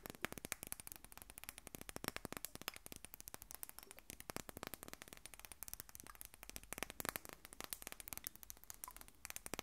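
A small, rectangular, textured glass perfume bottle, hollow and partly filled, is held in both hands and tapped and scratched with long nails. The result is a quiet, rapid stream of sharp, dry clicks and crackly scratches that die away instantly, with bright, high-reaching edges throughout.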